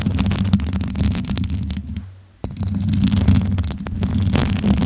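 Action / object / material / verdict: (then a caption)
scrape / metal mesh microphone grille / metal mesh / none. Long nails and fingertips rub, tap and scratch the hollow metal mesh grille of a pink USB condenser microphone with its foam cover removed, hands cupped around the mic head. The result is a dense, boomy rumble of scratching and tapping, heavy in the low end with fast irregular clicks. The sound briefly drops almost to silence before a sharp tap brings the scratching back.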